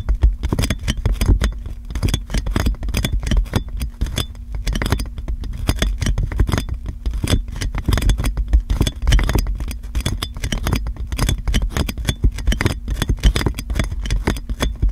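Long nails tap and scratch on clear plastic cling film wrapped around a metal microphone. A dense, continuous run of quick crinkly taps and scratches, each with a heavy low thump, sits over a steady low hum. The short, dry hits blur into a constant rustling patter.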